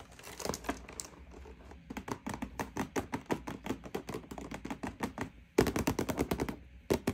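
Long painted nails and fingertips rapidly tap across the back face of a printed cardboard toy box lying flat on a table, hollow with the toy inside. The result is a stream of short, dry, clicky taps with almost no ring. A louder, faster flurry comes near the end.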